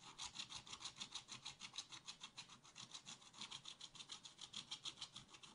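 A wooden stylus scratches a black-coated scratch art card in a spiral pad with fast back-and-forth strokes. It makes a steady, rhythmic series of dry, bright scraping rasps that pulse evenly with each stroke, with almost no low-end body.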